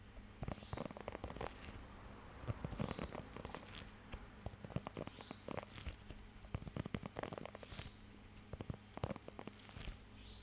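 Fingertips scratch and tap across the raised nubs of a blue rubber pet hair grooming glove held close to the microphone. Quiet, dense, crackly rubbery scratches and short sharp taps come in irregular bursts over a steady low hum.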